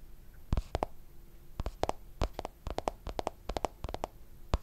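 A black smartphone in a hard plastic case, flat and solid, is held upright and tapped on its back and edges with fingertips and nails. About twenty quick, dry taps come in uneven clusters, each a short low thud with a clicky top that dies away almost at once.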